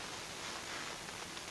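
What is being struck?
Nothing is struck.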